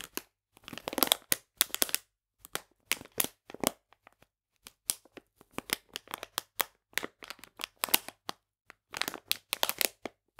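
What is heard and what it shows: A full plastic bag of polenta is held in the hands while fingers squeeze and crinkle its sides. Bright, crisp crackling comes in irregular short bursts separated by brief silences, with almost no low end and no ring after each crinkle.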